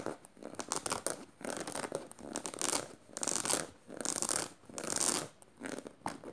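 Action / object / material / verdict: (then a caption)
scrape / canvas tote bag with metal studs / canvas / none. Fingernails scratch the fabric between the metal studs of a black studded canvas tote bag. Dry, bright, raspy scratching comes in repeated swelling strokes, roughly one a second, with short quiet gaps between them.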